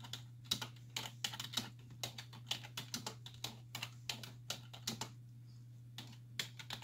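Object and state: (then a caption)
Plastic computer keyboard. Two hands with long white-tipped nails type continuously on a black plastic desktop keyboard with hollow key caps resting on a wooden desk, the nails and fingertips tapping the keys. The result is a steady stream of quick, bright, clacky clicks with short pauses, over a constant low hum.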